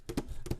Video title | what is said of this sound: Fights, Floods and Floaters - Curtain Jerks Podcast | it's like a big cookie tin